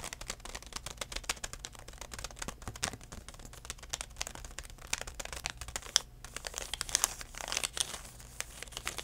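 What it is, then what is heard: Plastic floss pick pouch tapped and crinkled. A full DenTek plastic pouch package of floss picks is held in one hand and tapped with the fingertips of the other. It gives a quick, dense run of soft, bright crinkling taps that die away almost instantly, with louder crackles near the end.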